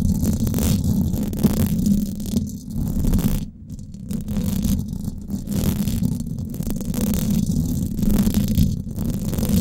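Long acrylic nails scratch the top and sides of the hollow domed steel mesh grille on a Blue Yeti microphone. The result is a continuous, dense, rumbling scrape that sits mostly in the low end, with a steady tone near 200 Hz and only a faint brighter hiss above. Its level stays fairly constant except for a brief quieter dip around the middle.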